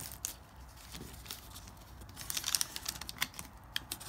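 A pink felt-tip marker writes letters on thin lined notebook paper that has been crumpled and then flattened on a marble-pattern board. The sound is a quiet, bright scratching and rubbing with steady strokes throughout, and it thickens around two and a half seconds into a cluster of sharper, crinkly ticks.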